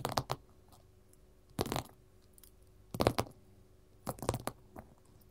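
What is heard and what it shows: Long metal filigree claw nail caps worn on both hands tap and scratch a flat gold glitter-covered mat, a solid sheet lying on a table. Short, dry clustered clicks and scratchy rasps come in irregular bursts separated by quiet pauses, with a faint low hum underneath.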